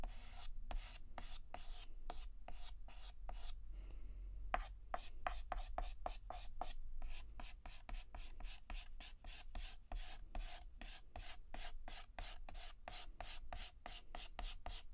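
Fingertips hold a yellow chalk stick and shade a petal on a flat, solid black chalkboard with rapid short scratches. A steady run of crisp, bright scratching strokes repeats quickly, with a brief pause near the four-second mark, over a low background rumble.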